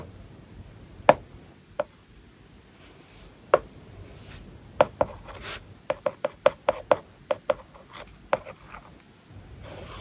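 A hard plastic stylus tip writes on an iPad lying flat, its glass screen covered with a matte, paper-like plastic film. Soft scratchy strokes are broken by 14 short, sharp ticks and taps, each with a dry midrange click around 600 Hz, spaced irregularly and bunching together in the second half. Very quiet hiss fills the gaps between marks.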